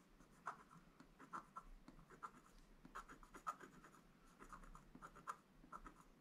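A wooden stylus scratches small details into a flat, black-coated scratch art paper board. Quiet, dry scraping strokes come in short bursts, with sharp squeaky peaks near 1.2 kHz over a faint bright hiss.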